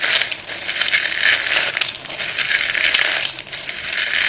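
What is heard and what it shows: Both chalk-covered hands scoop and rub a pile of solid white chalk sticks in a dark bowl, making the sticks clatter against each other. The result is a dense, bright, dry clicking and rattling with almost no low end, swelling and dipping briefly as the handfuls shift.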